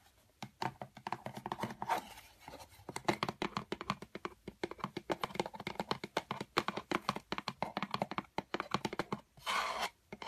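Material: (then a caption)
Cardboard. Fingertips and long white-painted nails tap and scratch along the outer surface and edges of a medium brown corrugated cardboard shipping box with printed lettering, hollow and empty. Quick, dry, hollow clicks come in a dense, uneven stream, broken by brief scratchy rasps, with a longer scraping burst near the end.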